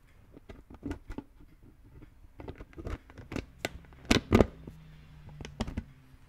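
Fingertips tap and rub a hollow green plastic brain-shaped lid on a red plastic skull container, with one hand cupped over the top. The result is a quiet run of dull, hollow plastic taps and soft scratchy rubbing, each dying away almost at once. Two firmer taps near the end stand out from the rest.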